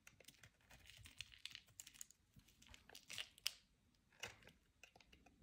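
A utility knife blade scrapes flakes off the edge of a solid, palm-sized white Carex bar soap held in the hand. The quiet, dry scraping comes as a run of crisp, bright crinkling clicks with almost no low end or ring, with a few sharper scrapes standing out near the middle and end.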